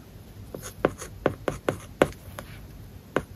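A stylus writes an English word and kanji on an iPad's glass screen covered with a matte plastic paper-like film. It makes a series of short, dry, scratchy taps and strokes with a mid-range tone and almost no ring, separated by quiet pauses.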